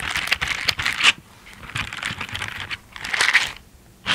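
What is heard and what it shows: Pink silicone dish gloves with bristle pads are worn on both hands, and the gloved hands are rubbed together while the fingers scratch against each other. The result is close, bright, crinkly scratching in several bursts with quieter pauses between them, with almost no low end.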